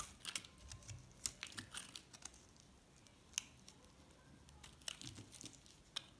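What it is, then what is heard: Recycled soap bar. A metal box-cutter blade shaves a pink and white recycled soap bar, held in the hand, into a thin slab. Quiet, bright scraping is broken by sharp, crisp crackles and snaps that stop dead with no ring.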